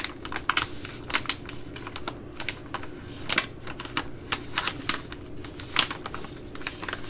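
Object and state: Plastic food pouch.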